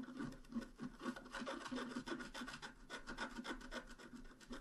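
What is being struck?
Coated scratch art paper scratched with a wooden stylus.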